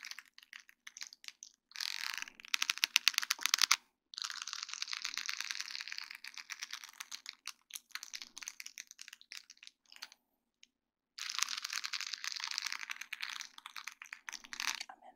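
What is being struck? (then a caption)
Sheet of small acrylic rhinestones on plastic mesh. A flat sheet of small faceted acrylic rhinestones on a plastic mesh backing is tapped and scratched with long dark-painted nails of both hands. Dense, bright clicking and scratchy rattling bursts come in clusters with short pauses, including a near-silent gap around 10–11 seconds.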